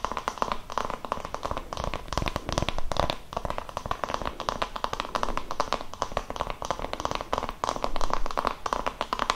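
An oval wooden massage brush with a cream strap, held in both hands, has its solid wooden back tapped with fingertips and long nails. The result is a dense, fast stream of short, dry wooden taps and clicks with a steady mid-range tone and very little ring.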